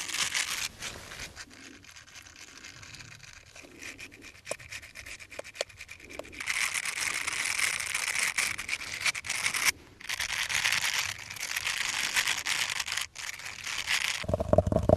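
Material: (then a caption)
Silicone. Small, hollow, light-blue silicone finger brush sleeves worn on the fingertips have their soft bristles rubbed and scratched against each other. Quiet, soft rubbing with faint clicks gives way halfway through to a louder, dense, bright scratching that briefly drops out near ten seconds. A short steady mid-pitched buzz closes the clip.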